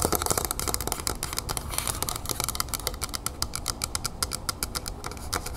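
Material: Metal.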